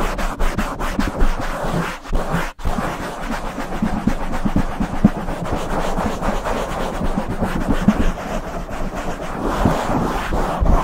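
Open palms and fingers rub and brush across a black foam windscreen on a silver Blue Yeti microphone. The result is a steady, dense, muffled rustling and rumbling that is heavy in the low end with almost no bright content, broken only by a brief near-silent dip at about 2.5 seconds.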